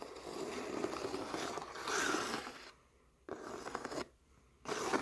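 Fingers and nails rub and scratch across the weave of a stretched canvas painting with thick, glossy acrylic petals. Three bursts of dry, raspy scraping are heard, separated by brief near-silent pauses: a long first pass that swells in brightness midway, then two shorter strokes.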